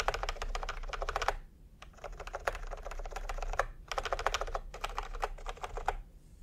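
Fingertips tap on a full-size plastic typewriter-style computer keyboard with round retro keycaps in peach and cream, lying on a white cloth. Quick runs of crisp, clacky keystrokes come in bursts separated by short pauses, over a steady low background rumble. Each tap is short and dry, dying away almost at once.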